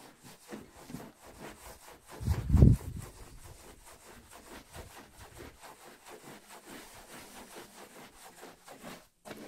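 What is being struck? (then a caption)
Wool pile rug scrubbed with a bristle brush. A green and yellow long-handled bristle brush scrubs back and forth over a red patterned wool pile rug thick with wet foam. Steady, rhythmic low rubbing strokes fill the clip, with one louder, heavier scrub burst early on before the quieter back-and-forth scrubbing resumes.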